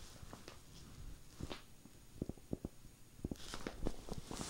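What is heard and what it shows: Long painted nails scratch and rub across a red knitted Christmas sweater with a snowman pattern spread flat. Quiet, irregular scratching gives soft low rumbles and short, sharp scrapes, with a brighter, hissy rubbing joining in toward the end.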